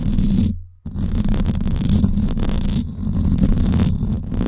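Long acrylic nails scratch the hollow, silver woven-wire dome grille of a Blue Yeti microphone. The result is a dense, boomy rumbling scrape concentrated in the low end, with a brief drop to near silence just before the one-second mark. The scratching then resumes continuously, with a slight dip around the three-second mark.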